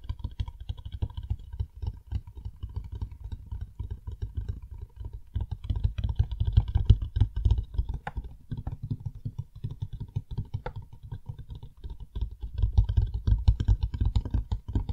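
A rigid, hollow black cardboard box, the packaging of a Blue Yeti X microphone, is held in the hands and quickly tapped on its faces with fingertips and nails. It gives a rapid, irregular stream of soft, dull thuds with a deep hollow body, overlaid by faint brighter clicks from the nails. Each tap dies away almost instantly, and the tapping swells louder in bursts around the middle and near the end.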